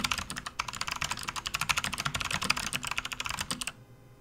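Both hands type with their fingertips on a full-size, RGB-backlit plastic membrane gaming keyboard resting on a desk mat, making continuous key presses. A fast stream of short, bright, clacky taps runs steadily with little low end, then stops abruptly just before the end, leaving a faint quiet tail.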